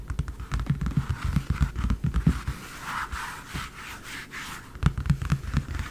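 Fast tapping on a large, empty leather briefcase, on both the front and the back, gives dense bursts of soft, low, dull thumps that quickly die away. The taps run in quick clusters with a quieter rubbing stretch in the middle.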